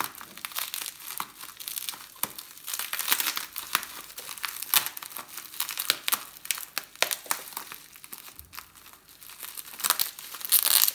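A small, soft, hollow package wrapped in clear plastic bubble wrap, with a Ross and Specter Spear necklace inside, is held in both hands and crumpled and crinkled with fingertips and short nails. Dense, bright, dry crackles and crinkles come in quick, uneven bursts with no low end, swelling louder toward the end.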